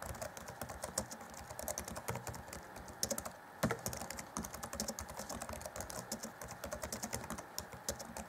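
Fingertips of both hands type rapidly on the black plastic chiclet keys of the grey keyboard deck of an Acer Chromebook C20 (2014) laptop. A steady stream of short, bright plastic clicks and taps pauses briefly just past the midpoint before the fast typing resumes.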